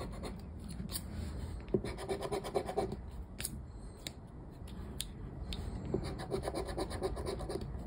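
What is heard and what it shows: A round black plastic scraper held in the fingers scratches the latex coating off a flat paper lottery scratchcard lying on a wooden table, while the other hand holds the card steady. Quick, uneven rasping strokes come in two busier bursts, with a soft low rumble underneath and a few sharp, brief clicks.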